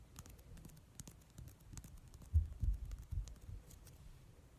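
A palm-sized, soft, translucent rubber or vinyl squishy ball filled with gold glitter gel is squeezed and deformed by fingers, and its surface is tapped and scratched with medium-length nails painted in mint polish. The result is a quiet run of dull, low, muffled thumps and squishy pats with faint, brief high ticks. A few louder, deeper squeezes come in the middle before it settles back to soft tapping.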